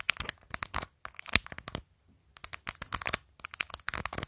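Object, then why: Plastic phone case with acrylic press-on nails. Long pointed acrylic nails tap and scratch a clear glitter plastic phone case covered in rows of matte acrylic press-on nails, including its top edge, on a phone held up close. Quick, bright, dry clicks and scratchy clatters come in dense bursts, with a brief pause midway before the tapping resumes.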